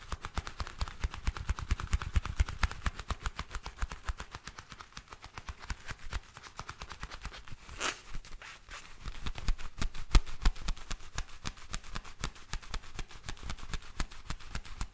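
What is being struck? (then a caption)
Leather gloves. Black leather gloves worn on both hands are rubbed together close to the microphone, fingers and palms squeaking and creaking in a dense run of short, sharp crackles. A brief brighter hiss swells near the middle before the rubbing continues steadily to the end.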